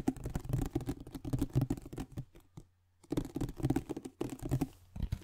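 A glossy printed cardboard iPad box, flat and hollow, is tapped and scratched across its printed face and edges with fingertips and nails in front of the microphone. Quick, dull, hollow taps and scratches patter in fast runs, with a near-silent pause in the middle before they resume.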